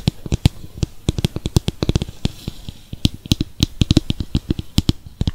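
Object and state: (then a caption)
Plastic mixing bowl. A small, hollow, translucent plastic mixing bowl, nearly empty with purple face-mask residue inside, is held in both hands close to the microphone and tapped with fingertips and nails. It gives a rapid, irregular series of short, dry taps with a dull, hollow low thump and a faint bright click on top. Each tap dies away almost instantly.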